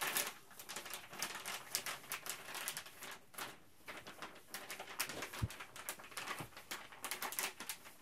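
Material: Plastic.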